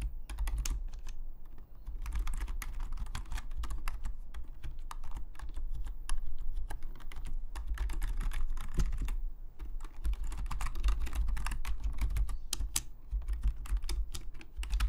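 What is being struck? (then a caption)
Plastic membrane computer keyboard. Fingertips of both hands type steadily on a full-size black Logitech membrane keyboard with plastic keycaps, lying flat on a desk. The result is a continuous stream of soft, rapid plastic clicks and clacks over a low, dull thump, with brief lulls around 2 and 9.5 seconds.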